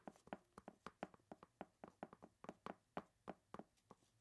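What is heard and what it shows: A large clear plastic bag full of ice cubes, tied at the top, is squeezed by hands in smooth mannequin-like gloves. About 21 quick, separate crinkling crunches come at an uneven pace. Each is a soft, short, dry snap centered in the low-mid range with faint bright edges.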